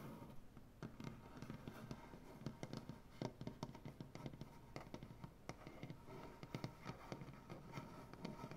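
Long dark-painted nails on both hands tap quickly across a solid light wood butcher block tabletop. The result is a dense, irregular stream of short, dry clicks and knocks with a soft low wooden thud beneath and almost no ring after each tap.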